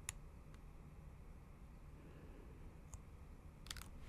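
Long acrylic nails tap the black plastic keys of a MacBook Pro keyboard set in an aluminum body. A few brief, bright clicks stand out sparsely over a steady low rumble, with a quick cluster near the end.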